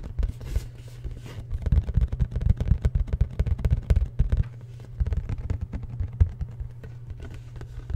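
Fingertips and nails tap and scratch a hollow, black printed cardboard product box held close to the microphone. Quick, uneven taps form a dense patter of short, dry thumps with a deep, boomy low end and almost no high ring.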